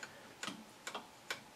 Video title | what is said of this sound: COAL vs. CBTO & Measuring Max CBTO w/ Hornady LnL OAL Gauge | you need to hear that tapping you can hear it when it hits the end of the chamber